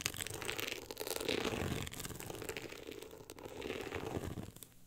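Long acrylic nails scratch across the ribbed, woven-texture cover of a hardcover book. The result is a continuous dry, crackly rasping with a bright hiss that swells and eases in overlapping strokes, with no hum or ring after.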